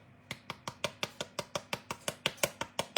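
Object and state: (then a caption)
Hollow, baked-through choux pastry. A freshly baked choux pastry puff made from leftover dough is tapped repeatedly. The taps are quick, dry and light, with a short, slightly hollow ring. The puff sounds hollow and feels light, which shows it is baked through.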